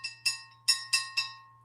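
Bisque-fired ceramic mugs are tapped five times to check for cracks, each tap giving a clear, bright ringing tone with high overtones that fades quickly. The clear ring means the mugs are sound and uncracked.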